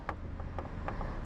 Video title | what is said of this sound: CFMOTO 675SR-R Review – Sound, Build & Details! (2025) | This is plastic but it gives you a very nice premium impression.